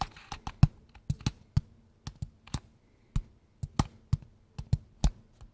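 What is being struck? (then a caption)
Small hollow cardboard box. A small, hollow kraft-brown cardboard box is held in both hands and tapped quickly with fingertips and nails. Eighteen short, dull, hollow taps come in an uneven rhythm, each one low and boxy with a brief papery click and almost no ring. The taps are fairly quiet and separated by brief silences.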